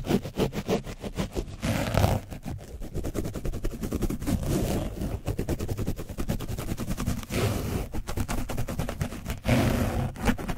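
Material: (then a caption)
Foam. A black foam paint brush on a wooden handle is scratched and brushed hard over an orange foam microphone windscreen coated with dried paint, on a black mic body. The rapid, rough strokes make a dense, low, muffled rumble and scraping. The windscreen sounds soft and hollow, with brief louder bursts throughout.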